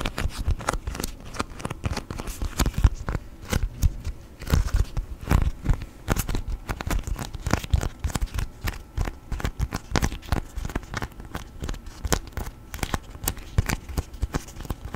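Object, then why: Beeswax-coated cotton food wrap. A thin yellow sheet of beeswax-coated cotton food wrap, folded into a tent shape and flattened, is bent and crinkled with the fingertips. It produces a dense, continuous stream of crackling and crinkling, with many short, sharp snaps over a soft low rumble of handling.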